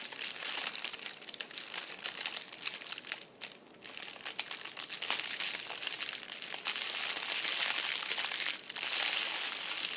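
A fist-sized purple metallic foil crinkle ball, a hollow, loosely crumpled cat-toy style ball resting on a fabric chair seat, is squeezed and crumpled by fingertips. Dense, bright crinkling and crackling fills the clip with almost no low end, briefly easing to a quieter pause around 3.5 seconds before continuing steadily.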